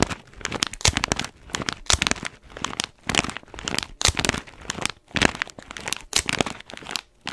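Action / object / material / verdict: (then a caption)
scrape / foil-lined paper coffee bag / foil-lined paper / none. Fingernails scratch the crinkly surface of an orange, foil-lined paper coffee bag with blue tape, held in one hand. The result is a steady run of dry, bright crinkling and scratching bursts that swell and fade in repeated waves, with no ringing after each stroke.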